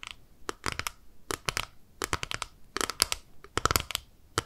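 A small, flat, clear plastic eyeshadow palette, held in both hands, is tapped and scratched on its lid with long nails. Quick bursts of sharp, bright clicks and brief scratchy rasps come in irregular clusters, each dying away almost instantly with no ring.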